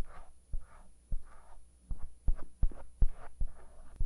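A thin bamboo ear pick in a white-gloved hand scratches and scrapes around the edge of a soft silicone outer ear mounted on a black 3Dio binaural microphone, while the other gloved hand steadies the mic. Soft, close scratchy rustles alternate with eight short, deep bumps, all over a faint steady high whine.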